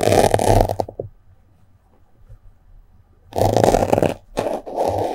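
A small white block of melamine foam sponge, held in the fingers above the microphone, has a yellow-headed metal sewing pin pushed into it and scratched through it. The result is dry, crunchy, squeaky scraping bursts with a midrange tone, broken by a near-silent pause of about two seconds.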